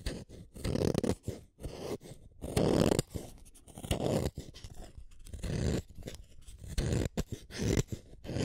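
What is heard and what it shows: A red wooden colored pencil, a small solid stick, is turned against the metal blade of a yellow plastic hand sharpener, one at a time. The result is a series of dry, grainy scraping cuts with a low, rough rasp as the shavings curl off, broken by short pauses between turns.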